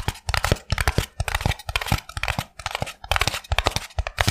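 Fingertips and nails rapidly tap and scratch the surface of a small white expanded polystyrene foam block held in both hands. The result is a dense run of short, dry taps with low thumps beneath bright, crackly scratching that sounds close to tearing, with brief pauses between bursts.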